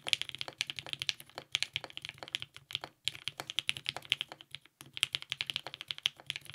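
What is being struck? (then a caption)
Mechanical keyboard with ABS plastic keycaps. Continuous two-handed fingertip typing on a compact TGR 910 RE mechanical keyboard with lubed 55g Nixie switches, a polycarbonate plate and purple GMK ABS keycaps. It produces a rapid stream of short, bright, clacky keystrokes centered around 3 kHz, with almost no low end and brief pauses near the 3- and 4.7-second marks.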